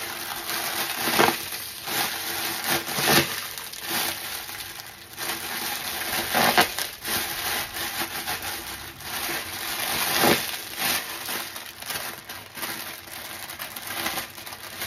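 A new, hand-sized yellow foam sponge, soft and porous and still sealed in thin clear plastic packaging, is squeezed and handled in bare hands over a dry stainless steel sink, with a second brown sponge lying untouched in the sink. The wrap gives off steady bright crinkling and rustling, broken by a few louder, sharper crackling bursts.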